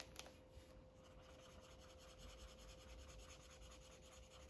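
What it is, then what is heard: Marker coloring on paper. A felt-tip Sharpie marker, held in the fingers, rubs and scratches across a thin white coloring book page lying flat on a fabric surface, while long dark nails on the other hand hold the page still. A brief sharp tap near the start gives way to steady, soft scratchy strokes with a faint constant hum underneath.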